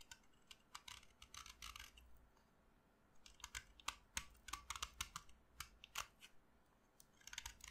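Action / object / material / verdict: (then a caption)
scrape / chalk stick scraped with a metal blade / chalk / none. A solid pink blackboard chalk stick, held in the fingers, is carved with the metal blade of a utility knife, shaving off dry chalk powder. The result is a run of short, bright, crisp scraping clicks in uneven bursts, with a quiet pause in the middle before the cutting resumes.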